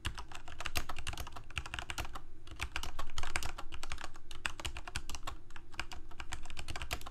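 Fingertips of both hands type steadily on a Corsair K68 full-size mechanical keyboard with plastic keycaps, Cherry MX Red switches and a backlight, resting on a desk. Fast, irregular bright clacks of keys bottoming out run continuously over a steady low hum, with short, quickly fading strikes.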